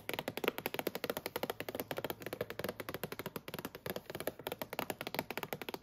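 Long nails tap and scratch the lid of a full, clear plastic clamshell box of spring mix salad greens lying in a shopping cart. About 38 rapid, dry plastic clicks with a hollow midrange tone around 480 Hz run steadily for six seconds, each dying away almost instantly, with a faint scratchy high edge.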